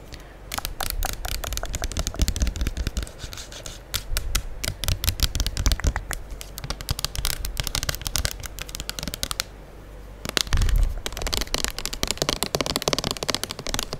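A full gold plastic liquid soap pump bottle is held close to the mic while long acrylic nails tap on it rapidly with both hands. Dense, fast, crisp clicking taps with bright highs and a heavy low thump from the close mic run continuously. There are brief quieter gaps near 4 seconds and around 10 seconds.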